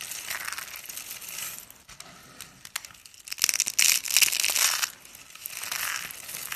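Cream-colored dry soap curls and flakes, solid and brittle, are crushed in the fingers and scattered by hand on a countertop. The result is a dense, bright crunching and crackling with no low end, building to a louder, sharper burst of crunches in the middle before settling back into a softer steady crinkle.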